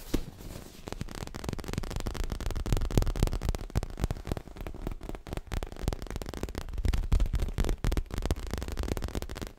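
Long fingernails rapidly tap and scratch a soft, stuffed, dark grey leather-covered pillow. The result is a dense, uneven stream of muffled, low thuds mixed with faint crackling scratches, with almost no ring after each tap.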